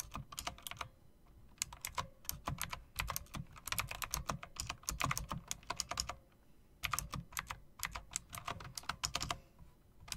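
Long-nailed fingers type rapidly on a typewriter-style mechanical keyboard with round plastic keycaps and metal rims. Fast bursts of sharp, bright clicks with a low thock under each keystroke break off in short pauses near 1.5 and 6.5 seconds. Each click decays almost instantly.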